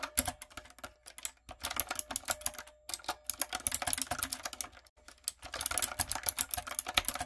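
Rapid fingertip and long coffin-nail taps on a backlit, typewriter-style mechanical keyboard with round brown plastic keycaps on a dark frame. The clicks are bright, sharp and very short. They come in quick bursts with brief pauses between them.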